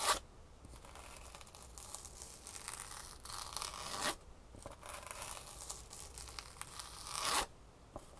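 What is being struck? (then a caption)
Foam insole with textured fabric top. A foam shoe insole with a green ribbed-fabric top is held over a box while long nails scratch across its surface. Bright, raspy scratching strokes rise and fall in long swells, each ending in a sharp rasp, with quiet gaps between them.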